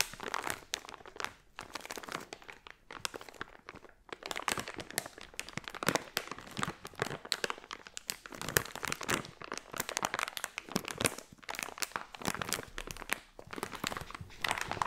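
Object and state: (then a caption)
Crinkly plastic foil pouch. A hand-sized, filled, blue unicorn crinkly plastic foil pouch is held in both hands, squeezed and scratched with long nails. The result is dense, continuous crinkling and crackling with sharp, bright bursts and little low end.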